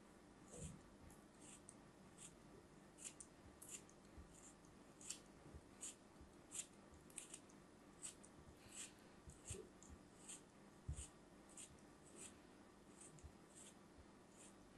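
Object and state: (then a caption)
Kinetic sand block being sliced. A craft knife repeatedly slices through a solid brown kinetic sand block held in the hands, making about twenty soft, crumbly crunches. Each cut has a quiet, dull low thump under a bright, gritty hiss that stops quickly, over a low, steady background.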